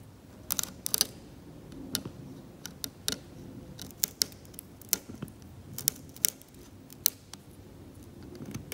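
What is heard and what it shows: A metal scalpel held in the fingers scrapes the flat, cracked, varnished paint layer of an oil painting on canvas, lifting paint and varnish off the blue-grey ground. It makes a quiet, irregular string of short, bright, dry scratches and ticks with almost no ring, over a soft low rustle.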